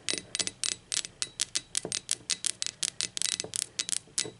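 Long acrylic nails tap and scratch the printed base and body of a blue speckled ceramic mug lying on its side. About 22 short, bright, dry clicks come in an uneven run, with almost no low end and no ringing after each hit.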